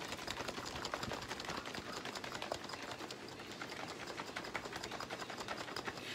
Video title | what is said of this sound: Im hungry! What’s for breakfast? Hashbrowns - Bacon - Homemade Butter | you shake it until you don't hear it anymore see how you can hear the liquid now